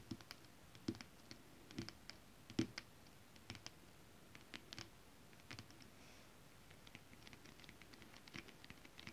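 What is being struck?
Holographic scale-print fabric.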